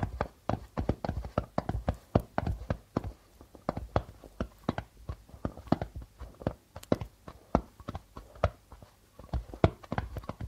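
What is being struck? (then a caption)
Darbuka drum with plastic head. Fingers give quick flicking taps on the plastic membrane of a hollow darbuka drum while the other hand rests on top of the head. Dozens of short, dry taps come in quick, uneven bursts, each with a low, hollow thump near 100 Hz that stops almost at once.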